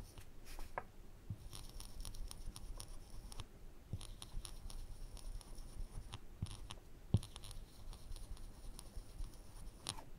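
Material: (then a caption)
Plywood. A woodburning pen's wire tip is scratched in short strokes across a flat, thin plywood panel, working inside a lens of drawn glasses. Soft, dry scratching with faint bright streaks sits over a steady low hum, and one sharper click stands out near the end.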